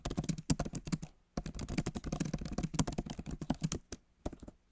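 Fingertips of both hands type quickly on a backlit MacBook Pro keyboard, its plastic keys set in a solid aluminum body. Rapid, soft, thumpy key taps come in bursts, with short pauses just after one second and near four seconds.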